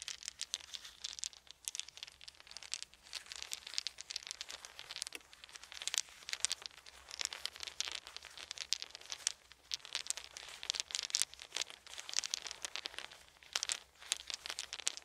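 Wooden beads are held in both hands, rolled and clicked together in the palms, with some dropped. Dense, bright clicking and rattling goes on throughout in quiet, uneven bursts, with little low-end body.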